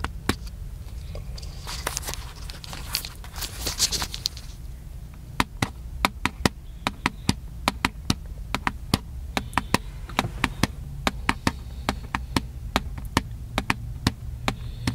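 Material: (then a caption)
Plastic. Fingertips tap the hollow body of a small black plastic handheld camcorder with a hand strap, and may scratch it. Around the second to fourth second there is a stretch of bright, scratchy rustling. After that come many sharp, dry, clicky taps that die out almost instantly, over a steady low hum.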